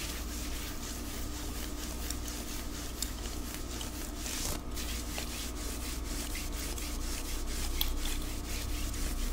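Fingernails scratch and rub the sleeve and shoulder of a white knit cotton long-sleeve top worn on the body, with a watch on the wrist. A steady, soft, brushy friction rasp repeats in quick, uneven strokes over a low background hum.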